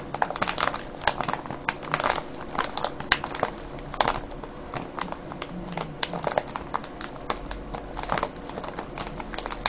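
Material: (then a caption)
Cellophane. Fingertips and nails scratch and crinkle a clear cellophane bag full of foil-wrapped candies. The result is a continuous run of dry, bright crackles and crinkles with sharp, quickly fading snaps over a faint low steady hum.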